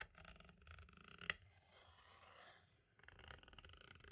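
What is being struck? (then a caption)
Plastic audio cassette shell. A pointed tool tip taps and traces along the top edge and right corner of a small, hollow white plastic audio cassette shell. Quiet, bright, dry clicks and scratchy ticks come in quick runs, with one sharper tap standing out, then a softer, smoother scraping stretch before the light rapid tapping resumes. The taps die away almost instantly, leaving a crisp, close plastic clatter.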